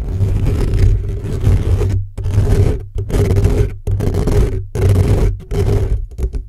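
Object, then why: Metal mesh microphone grille. Fingertips and short nails of both hands scratch rapidly across the hollow metal mesh grille of an upright black microphone. The result is dense, rough scraping in bursts broken by brief silences, with a heavy boomy low rumble and a hum near 100 Hz under a faint bright rasp.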